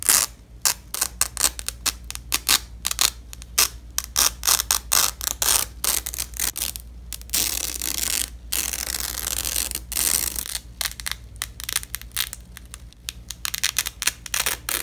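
Black-gloved hands press together overlapping sections of a purple nylon hook-and-loop (velcro) strap on red cloth, then pull them apart. The result is a run of quick, bright, crackling rips in short bursts, with a longer continuous tearing rasp in the middle of the clip. A faint low hum sits steadily underneath.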